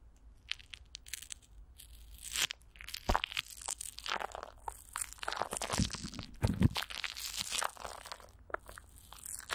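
Fingertips and long nails scratch and tap clear plastic film, coated with Vaseline, stretched over a hollow microphone grille, first with one hand and then with both. The result is a close, crinkly crunching with bright, brittle scratches and quick taps, plus a few deeper thumps partway through.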